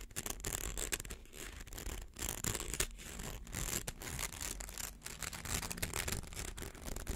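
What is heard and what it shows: A fingernail scratches along the coils of a small, hollow, rainbow-colored plastic slinky held in the hands. The result is a steady, bright, ridged rasp made of rapid clicky strokes that rise and fall in loudness, over a soft low rumble.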